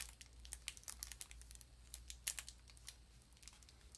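A small, rectangular, apparently full Brunswick sardine tin in a crinkly gold-and-blue foil paper wrapper is held in both hands while long nails and fingertips squeeze and crinkle the wrapper. The result is a quiet run of sharp, bright, short crackles and crinkles that fade instantly, over a faint steady low hum.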